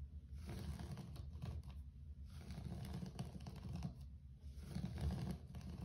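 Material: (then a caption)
Carpet. Fingertips rapidly tap and scratch a low-pile grey carpet floor. The result is a dense, muffled patter of soft low thuds, with bursts of brighter scratchy rustling coming and going in waves.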